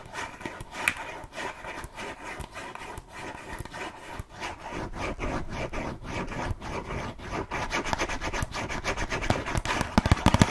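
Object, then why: Small closed cardboard box of cookies. Long nails scratch and rub over a small, closed, red printed cardboard box of burger cookies, hollow with contents inside. A steady run of dry, rasping strokes repeats about three times a second, with a low papery body. The scratching grows denser and louder toward the end, punctuated by a few sharper taps.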